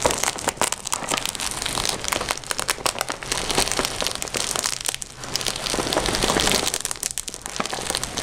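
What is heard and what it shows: Fingertips with short painted nails scratch and rub the printed outer surface of a red glossy PVC/vinyl-coated zip pencil case with a Hello Kitty print, soft and hollow and holding pencils. A continuous bright, crinkly scratching and crackling runs throughout, with rapid dense strokes and brief dips in level.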